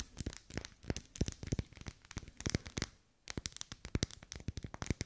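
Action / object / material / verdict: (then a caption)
tap / wax pillar candle tapped and scratched by fingernails / wax / none. Long pale nails tap and scratch the vertical ribs of a lit pink pillar candle of solid wax, held up close. The result is a quick, dry run of crackly clicks and scrapes that die away almost instantly, with a brief pause just after the three-second mark before the tapping picks back up.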